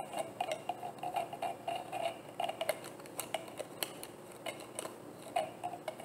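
A hollow, frosted white plastic bottle is held and tapped on its label side with long painted nails. The result is a quick, irregular run of light, dry clicking taps with a hollow mid-pitched tone and almost no ring, with a few brighter clicks mixed in.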